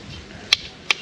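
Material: Fired clay.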